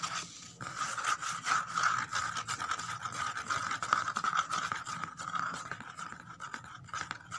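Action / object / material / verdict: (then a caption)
scrape / corrugated cardboard box / cardboard / none. Long nails rapidly scratch and tap the flat bottom inside an empty corrugated cardboard box. The result is a dense, irregular stream of quick, dry scrapes and clicks with a steady papery resonance around 1.3 kHz and bright, hissy edges.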